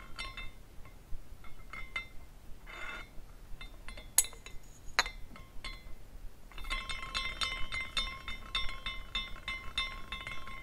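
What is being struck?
Small glass carousel ornament.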